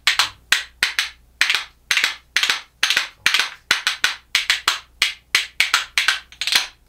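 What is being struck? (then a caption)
Pair of ash-wood percussion spoons. A pair of small, solid, light-coloured Japanese ash (yachidamo) wooden percussion spoons, held back to back, is struck against the hand and knee in a rhythmic pattern. Each hit gives a dry, bright, woody clack with a very short ring, repeating in a steady clattering rhythm.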